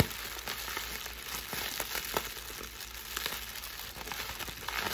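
Clear plastic air-cushion packing wrap is held close and scratched and crinkled with long pink nails and fingertips. A steady bright, crackling rustle fills the clip, with sharp little ticks and pops scattered throughout.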